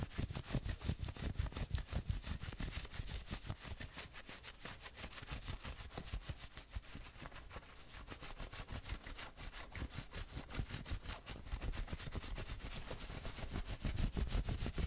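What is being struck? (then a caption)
Fleece hoodie. Fingernails scratch quickly over the shoulders and chest of a worn fleece hoodie. Rapid, slightly uneven strokes give a dense, brushy rasp with a soft low thump under each pass and a bright fuzzy edge on top. The scratching stays steady throughout, easing a little in the middle and growing louder again toward the end.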